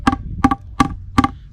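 A plastic caravan waste pipe fitting is set on something firm and tapped to push it home. Five short, hollow knocks come at an even pace, each a quick double tap with a brief ring that dies almost at once. The sound changes once the fitting is fully seated, showing it is pushed all the way on.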